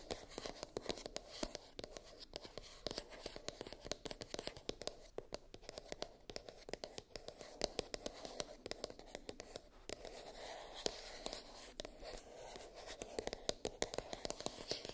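Long nails tap and scratch the lid of a small, hollow, white rigid cardboard iPhone box. Quick, crisp clicking taps mix with dry, papery scratching in a steady, rapid stream. Each tap is short and slightly hollow with a midrange tone, all at a soft, close level.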